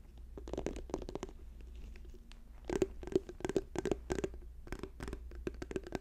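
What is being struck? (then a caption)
Plastic squeeze tube. Fingernails rapidly tap an orange plastic squeeze tube with a white cap, held up in the hands. The result is quick, irregular bursts of short, dry clicks with a hollow plastic tone, over a faint low hum.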